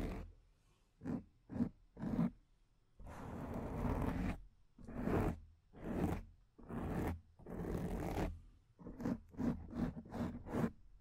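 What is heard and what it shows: Long nails scratch the top of a black foam microphone windscreen with both hands, making dry, raspy scraping bursts. Short quick strokes alternate with longer sustained scrapes, heavy in low rumble with a faint bright hiss, separated by brief silences.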